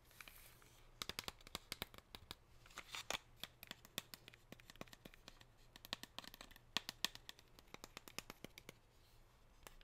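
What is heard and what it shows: A gold foil-wrapped chocolate bar held in the hand is tapped and scratched by long pink nails. The result is a quick series of sharp, bright clicks and crinkly scratches over a soft hiss. Each tap dies away almost instantly.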